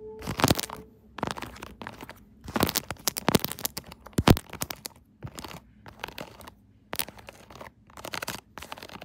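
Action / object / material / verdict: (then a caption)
tap / silicone bubble phone case / silicone / none. Long acrylic nails tap and scratch across a pink silicone pop-it bubble case on a phone. The result is clusters of quick, dry, crunchy clicks and scratchy rasps with brief pauses between bursts, and each tap dies away almost instantly.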